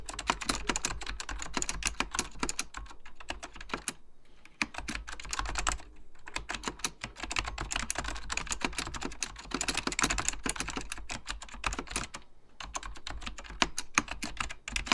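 Fingertips type continuously on a beige plastic, full-size Apple Extended Keyboard II, pressing its hollow plastic keycaps over mechanical switches. The result is a rapid stream of sharp, bright clacks with a low thump underneath, each dying away almost instantly. The typing pauses briefly around 4, 6 and 12.5 seconds.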